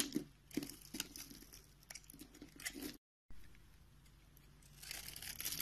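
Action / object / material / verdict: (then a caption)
scrape / bar of soap / soap / none. A box-cutter blade scrapes and carves a solid, rectangular, palm-sized tan bar of soap held in one hand, its surface pre-scored into a grid, flaking off small cubes and shavings. Crisp crunches and dry crinkly scraping come with sharp clicks, then a brief silence. Softer steady scraping follows and grows brighter and louder toward the end.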